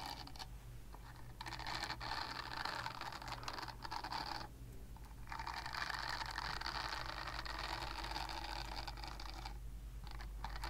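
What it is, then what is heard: Silicone body scrubber scratched with nails. A palm-sized purple silicone body scrubber with bristle nubs, solid and flexible, is scratched with long painted nails. Quiet, steady rasping scratches fill the clip, with a brief lull partway through before the scratching resumes. A low hum sits underneath throughout.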